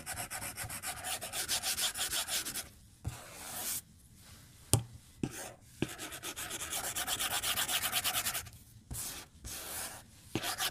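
A white plastic stylus scratches repeated strokes across a glass tablet touchscreen lying flat on a desk. Quick, dry, bright scratching comes in rhythmic bursts, broken by short pauses and a few sharp taps of the stylus on the glass.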